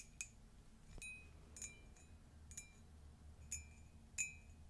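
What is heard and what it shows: Long nails tap and scratch the inside and rim of an empty, hollow, flared ceramic Disney mug with a pastel print and a yellow-glazed interior. Six quiet, irregularly spaced taps each give a short, bright clink with a ringing tone near 2.5 kHz and a higher overtone. Faint scratching and a low rumble fill the gaps between taps.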